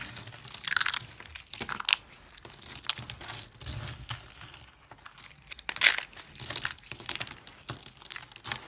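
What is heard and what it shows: Thin, brittle pink dry soap flakes are crushed and rubbed between hands with purple nails over a pile of pink flakes. The result is dense, bright crunching and crinkling in irregular bursts, with sharp crackles that stop at once and almost no low end.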